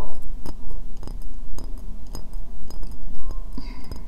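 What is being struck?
Upside-down ceramic bowl.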